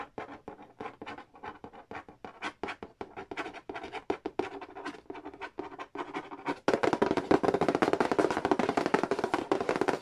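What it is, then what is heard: Cardboard board game box. Fingertips tap quickly on the glossy lid of a large, flat, hollow cardboard Monopoly Nintendo edition board game box, producing dry, hollow, short taps. After about six and a half seconds, the sound shifts to louder, denser tracing and scratching across the lid that continues to the end.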